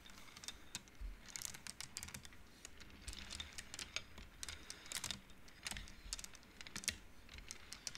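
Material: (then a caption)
Wood. Both hands flick and push painted wooden beads along the rods of an upright wooden-frame abacus. The result is a quiet, steady run of short, bright wooden clicks in irregular clusters, each dying away almost at once over a faint low rumble.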